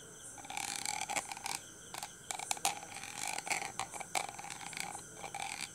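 A thin red stick taps and scratches across the hollow, rounded steel wire-mesh grille of a handheld dynamic microphone while a hand holds the mic body. Irregular bursts of bright, crackly scratching and quick taps carry a metallic ring around 800 Hz. There is almost no low end, and each burst cuts off quickly with little decay.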